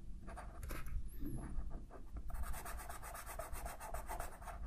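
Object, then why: Felt-tip marker on a paper sheet. A green felt-tip marker held in the fingertips colors a large sheet of white paper on a table while the other hand holds the sheet steady. The marker tip rubs and scratches back and forth across the paper in quick, repeated strokes over a low, steady rumble. It makes a soft, continuous rasping scribble.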